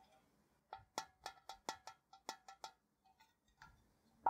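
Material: Tinplate.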